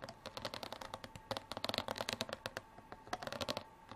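Long artificial nails scratch and tap along the ridges of a clear plastic water bottle with an orange cap, lying on its side and partly filled with water. The result is a quick, uneven series of sharp, crisp clicks and scratchy rasps with a faint plasticky ring between them.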